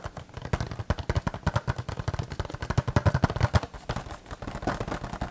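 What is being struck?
Small cardboard box with a clear plastic window.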